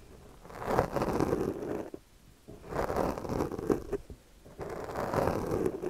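The teeth of a yellow plastic comb are dragged across the top of a soft, porous black foam windscreen on a microphone while the other hand steadies the mic. Three separate scratchy, rasping strokes are heard, with short quiet gaps between them. The sound is dull and muffled, centred in the low midrange with little bright content.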